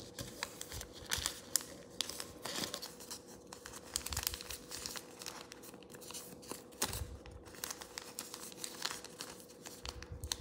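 A thin sheet of yellow origami paper, folded into a narrow crane shape, is lifted off a table and pinched and creased between the fingertips. Quiet, bright crinkling and crackling rustles come in dense bursts with short sharp snaps, over a faint steady hum.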